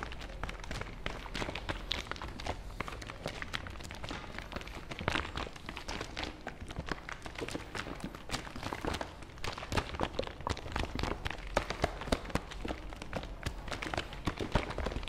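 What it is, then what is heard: Plastic bottle tapped. Fingertips tap and grip the hollow body of a white and blue plastic fabric softener bottle held in one hand. A fast, steady stream of light, crisp plastic taps and crinkly grips runs through the whole clip over a faint low hum.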